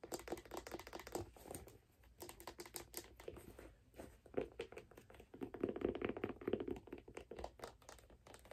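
Long black nails tap and scratch the underside of a figure skate: its wooden sole, and the aluminum plate with screws and steel blade. The result is a quiet, dense patter of quick, dry clicks that die out almost instantly. Bursts of scratching swell in a warm midrange, loudest in the second half.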